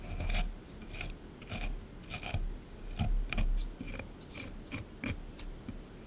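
A small chisel tool scrapes hard across a solid plaster excavation block sitting in a tray. The result is a series of short, gritty rasping strokes with bright, hissy edges, layered over low, dull rumbles from the tray.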